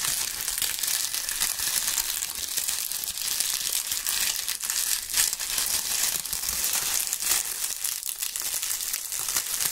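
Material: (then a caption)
Dried leaves. Dry, brittle brown maple leaves are squeezed and crumpled in gloved hands. A steady, dense crackling crunch fills the clip, bright and airy with almost no low end, and small sharper snaps break through now and then.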